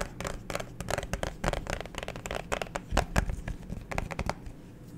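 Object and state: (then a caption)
Plastic phone case. Fingernails tap and scratch the front and back of a clear plastic liquid-glitter phone case with a black pop grip, held horizontally near the mic. Quick, dry clicks and scratchy rasps come in an uneven stream of short bursts with very little ring, over a low, rumbly background.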